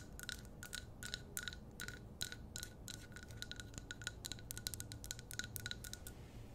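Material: Glass.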